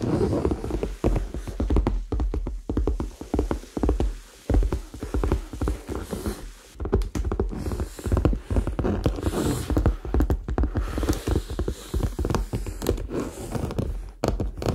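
A hollow, medium red faux leather handbag held close to the microphone is tapped and scratched with fingertips and nails. The result is a dense, continuous stream of soft, quick thuds and scratchy patter. The sound is heavy in the low end and each tap dies away almost at once.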